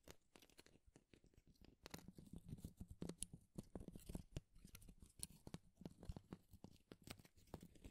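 Long, thin, fibrous wooden shaving strips are held in both hands and rubbed and scratched together with the fingers. The result is a quiet, continuous crackling rustle made of dense, dry little snaps and scrapes, with most of the weight low in the sound and thin, bright crackles on top.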